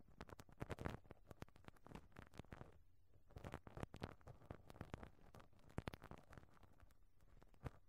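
A pink rubber-bristle brush on a black handle is brushed and rubbed across the round perforated metal grille on top of a small, hollow cylindrical microphone head. It makes a quiet, continuous run of soft scratchy strokes and rapid patter-like ticks with a muffled, bass-heavy thump, easing briefly just before the three-second mark. A few sharper taps stand out along the way.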